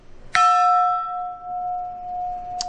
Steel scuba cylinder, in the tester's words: sounds like a bell it's ringing out